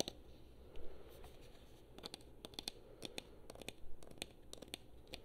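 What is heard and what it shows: A black, hand-sized, hollow plastic PlayStation-style gamepad, held in both hands, is tapped and clicked with long painted nails. The result is a quiet run of sharp, dry clicks and taps with bright edges, each dying away almost at once, over a soft low background hum.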